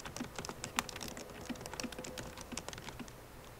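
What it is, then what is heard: Laptop keyboard typing. Long painted nails and fingertips of both hands type on the black plastic keycaps of a 13-inch MacBook Pro butterfly keyboard set in a silver aluminum body, the hollow laptop resting on a wooden desk. About 18 quick, bright, clicky taps come in an uneven run, each dying away almost at once. A faint steady hum sits underneath.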